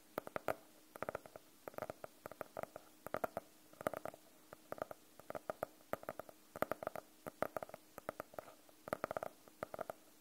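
Fingernails tap and scratch on the cover of a closed, solid navy faux-leather hardcover notebook held at an angle. Quick, dry clicks come in irregular clusters, each with a short, hollow mid-range tone around 620 Hz and almost no ring. Soft scratching fills the quiet gaps between the clusters.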